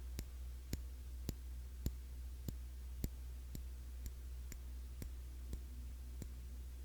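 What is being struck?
Glass cologne bottle.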